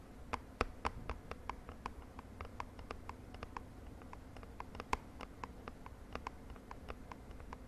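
Long nails tap quickly on a small purple printed cardboard cosmetic box held in the hand, giving about thirty quick, dry, quiet clicks with a faint hollow tone near 1 kHz. Each tap dies away almost at once over a steady low background rumble.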